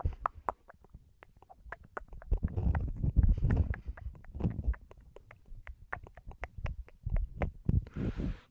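A thin, flexible black woven-mesh vinyl placemat wrapped over a microphone is scratched and rubbed with the fingertips and short nails of both hands. Deep, muffled rumbling rubs swell and fade under a quick, irregular stream of sharp, dry ticks and crackles. Near the end, a brief brighter scratchy hiss comes through.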